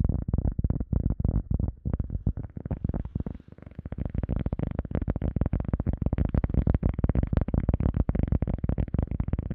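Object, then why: EVA foam sponge disc. Fingertips tap and scratch a round, solid, soft teal EVA foam sponge disc held above and around the microphone. The result is a dense, rapid stream of dull, muffled low thumps with almost no bright content and no ring after each hit. The tapping eases into a softer, scratchier patch around the third second before resuming at full strength.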